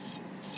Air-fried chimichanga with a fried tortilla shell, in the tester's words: So we did a perfect crunchy outside